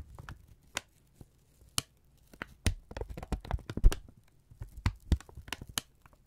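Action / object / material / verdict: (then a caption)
scrape / kraft paper strip / paper / none. A thin strip of brown kraft paper is held in both hands and folded and crumpled with the fingertips, giving a run of sharp, dry crackles and crinkles. The crackles come in irregular bursts over a low, soft rumble, some clear and separate and others bunched together.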